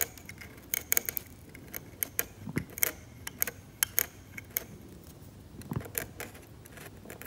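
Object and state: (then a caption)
Scalpel scraping varnished oil painting. A hand-held metal scalpel scrapes paint from the blue-grey ground of a flat, glossy, cracked, varnished oil painting on canvas in repeated strokes. It makes a quiet run of sharp, bright scratching ticks and small clicks over a low background hiss, with a few soft, duller scrapes in between.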